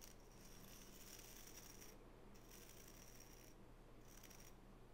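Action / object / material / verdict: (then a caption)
scrape / wooden nail brush with natural bristles / natural bristle / none. Long natural fingernails scratch across the natural bristles of a small oval wooden nail brush held in both hands. The sound is a soft, bright, raspy bristle texture that comes in three stretches with short pauses between them, over a faint steady low hum.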